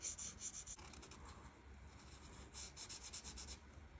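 The felt chisel tip of an art marker rubs and scratches across a flat paper coloring page while coloring leaves. It makes quiet, bright, hissy back-and-forth strokes in quick, uneven bursts with a faint low rumble underneath.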